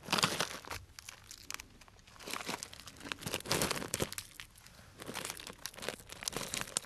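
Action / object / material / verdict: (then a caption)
shake / cellophane plastic bag of dried tea pieces / cellophane / none. A clear cellophane bag full of dried brown tea or fruit pieces is squeezed and crinkled with fingertips up close. Crisp, bright crackling and crunching come in slow, uneven waves, swelling and fading with quieter gaps between them.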